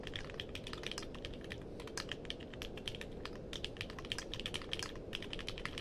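Fingertips type steadily on a compact mechanical keyboard with a purple case and plastic keycaps. The result is a fast, continuous stream of short, bright clicks peaking around 3.2 kHz over a soft, steady low rumble.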